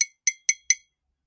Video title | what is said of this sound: Wild About Seaweed with Tara Proud - S1 E11 | it's quite incredible really it's essentially just got like a skeleton just like a coral